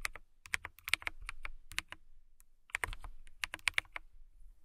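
Long nails type on a transparent acrylic mechanical keyboard with clear keycaps. About twenty short, dry, clicky taps come in uneven bursts with a brief pause in the middle, bright with a main tone near 2.2 kHz. Each tap stops almost at once, with no ring.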